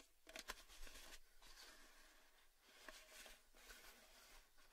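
Fingertips and nails tap the lid and upper body of a hollow, orange cylindrical Baileys metal tin with its lid on. Quiet, irregular light taps and bright clicky scratches come through, with a few sharper hits that give a short metallic ping near 1 kHz and die away almost at once.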